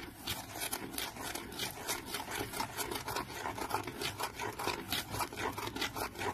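Fingernails scratch the flat printed lid of a small decorated cardboard box held in the hand. The result is a quick, uneven series of dry, bright rasping strokes, about four per second, each fading almost at once.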